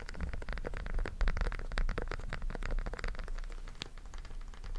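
A small, flat, rainbow silicone pop-it fidget toy with hollow bubbles is held in both hands close to the microphone while fingertips press and pop the bubbles. A rapid, uneven stream of soft, muffled pops and light scratchy clicks is heard over a heavy low-frequency rumble, with each pop dying away almost instantly.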